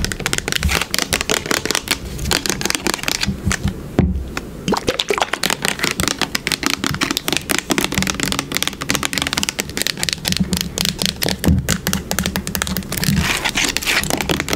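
Long pink nails scratch and tap rapidly along the body and label of a yellow plastic bottle held sideways. The result is a dense stream of crisp, bright clicks and rasps over a low hollow hum, with a brief near-silent dip around four seconds.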